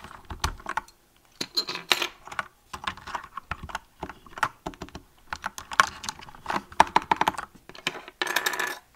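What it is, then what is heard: Mechanical keyboard with plastic keycaps. Fingertips with long nails press and tap cream and green plastic keycaps into place on the right side of a full-size green mechanical keyboard, some of its switches still bare, then type across the keys. Short, sharp plastic clacks come in quick bursts separated by brief silences. The clicks are bright and dry, with no ring.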